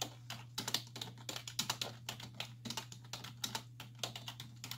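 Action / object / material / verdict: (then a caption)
tap / plastic computer keyboard / plastic / none. Two hands with long white-tipped nails type continuously on a black plastic desktop keyboard with hollow key caps resting on a wooden desk, nails and fingertips tapping the keys. About 25 quick, bright plastic clicks and clacks come in an uneven stream, each dying away almost at once, over a steady low hum.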